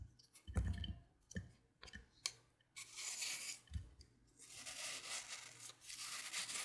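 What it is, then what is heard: Wet floral foam block being cut. A blade with a red patterned handle cuts, slices and scrapes a hand-sized block of wet green phenolic floral foam, solid and porous and already scored in a grid, held in a hand with long painted nails over a white plate. Sharp, soft crunching ticks with low thuds come first, then longer bright, hissy scraping strokes. Small cubes crumble off into the plate.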